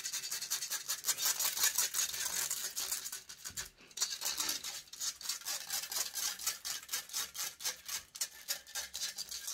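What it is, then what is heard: Metal microphone mesh grille. Long grey nails scratch rapidly across a hollow metal mesh microphone grille. The result is a dense, bright, rasping scratch in quick, uneven strokes, with a brief pause near the four-second mark.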